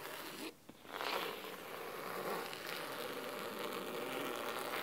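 Fingernails scratch the sides and then the top of a thick navy cloth-covered hardcover book resting on a wooden table. A brief scratch stops for a moment of near-silence. Then a steady, dry, bright rasping runs continuously to the end.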